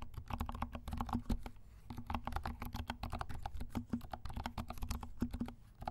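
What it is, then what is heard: Plastic mechanical keyboard. Fingertips of both hands type fast on a compact black mechanical keyboard with silent switches and black and pink plastic keycaps. The result is a rapid, uneven patter of soft, muffled, low-pitched clacks that stop short with almost no ring.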